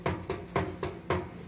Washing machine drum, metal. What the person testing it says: é o tripé que quebrou repar tá todo solto